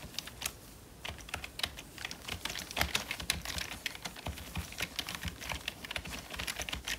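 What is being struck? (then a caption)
Plastic membrane computer keyboard. Gloved fingertips type on the keys of a full-size black plastic membrane computer keyboard with a hollow body. A steady, uneven stream of quick, dry, bright clacks follows a brief quiet pause near the start, and each tap dies away almost instantly.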